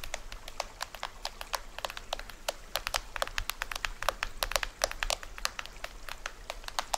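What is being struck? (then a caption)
Plastic film toy drum head. Fingernails scratch and tap near the lower edge of the printed plastic head of a small hollow toy drum. The result is a quick, dry run of sharp clicks and crinkly scratches with a papery, bright edge, each tap cutting off almost at once. A faint low hum sits underneath.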